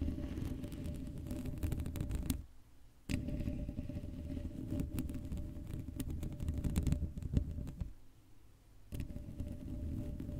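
Fingertips and long nails tap and scratch the sides of the hollow black metal mesh grille on an uncovered Blue Yeti microphone. The result is a dense, boomy rumble of low scraping and clattering with a faint steady hum. Two brief near-silent pauses break it up, near the 2.5-second and 8-second marks.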